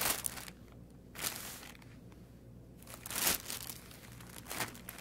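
A thin clear plastic bag, about 30 cm long, holding an artificial aquarium plant, is crinkled and rubbed with fingertips while its sealed end is opened. Bright, crackling crinkles come in short bursts separated by quieter stretches of soft rustling, over a faint steady low hum.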